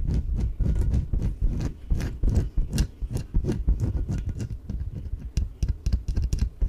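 Fingernails tap rapidly on the surface of a small yellow inflatable PVC exercise ball, hollow and filled with air. The result is a quick, uneven run of dull, hollow thuds with a low body around 105 Hz. Each tap dies away quickly, and faint bright scratchy ticks sit on top.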